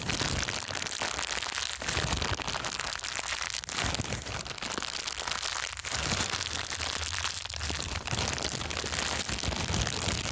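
An empty, thin, clear plastic bag is held in both hands and crumpled and squeezed with the fingers. It makes a steady, dense crinkling and crackling that is bright and high-heavy, with a faint low rumble underneath. The sound keeps going for about ten seconds without a break.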